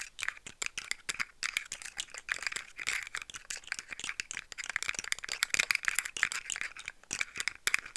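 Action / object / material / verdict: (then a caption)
tap / segmented plastic slug toy / plastic / none. Long nails tap and rattle the hollow segments of a hand-sized, rainbow-colored, segmented plastic slug fidget toy. The result is a rapid, uneven stream of dry, bright plastic clicks that stop instantly, centered around 1.8 kHz with almost no low end.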